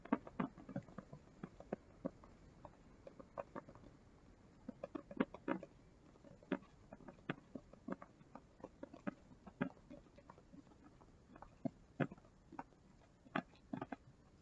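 Fingertips flick and riffle the edges of a small rainbow-colored paper sticky-note block held in both hands. The result is a quiet, irregular run of sharp, dry paper ticks and soft patters that stop at once with no ring, set over a faint low hiss.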